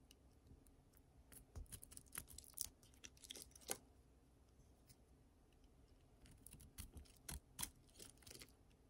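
A utility knife blade scrapes and carves a solid oval bar of dry pink soap held in the palm, cutting its surface into chunks and flakes while a green bar lies untouched nearby. The result is a quiet series of short, dry, crisp scraping crackles with bright high edges. They come in two busy clusters separated by a calmer stretch.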